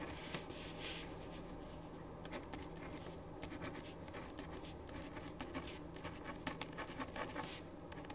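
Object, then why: Ballpoint pen on a paper sheet over a wooden desk. A ballpoint pen writes on a thin printed paper sheet lying flat on a wooden desk. Quiet, steady scratching strokes come with short bright bursts of pen friction over a low, constant background hum.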